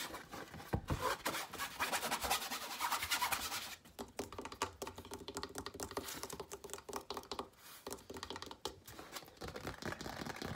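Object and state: Stretched canvas on wooden frame, scratched.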